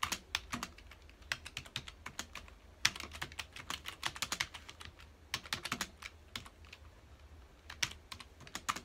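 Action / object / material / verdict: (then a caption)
tap / plastic computer keyboard / plastic / none. Fingertips of both hands type on a full-size black plastic computer keyboard with a hollow key housing, resting on a dark desk. Quick, sharp clicks with very short decay come in uneven bursts with brief pauses between them. The keystrokes sound bright and crisp over a faint low hum.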